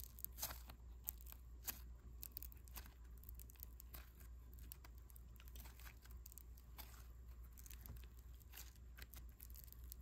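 A palm-sized, solid ball of mixed-color foam clay made of polystyrene beads is squeezed in the fist and rubbed with the thumb. It gives off quiet, irregular crunchy crackles and bright clicks over a steady low hum.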